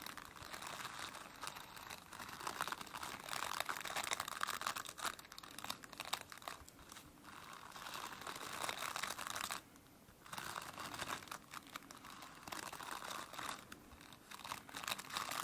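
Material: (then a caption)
Plastic. Long nails and fingertips scratch across the dense plastic bristles of a plastic brush, making a continuous dry, crackling rasp that is strongest in the midrange and bright highs. The scratching runs almost steadily, with a brief quiet gap around ten seconds before it resumes.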